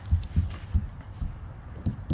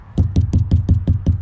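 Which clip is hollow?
The second.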